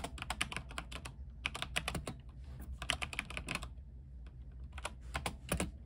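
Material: Plastic.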